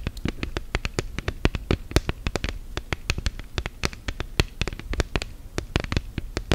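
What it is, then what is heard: Silicone phone case. Long gel nails tap rapidly on an orange silicone case fitted to a smartphone. The result is a quick, irregular run of short, dry clicks, each with a soft low thump and a bright tick on top, dying away almost instantly.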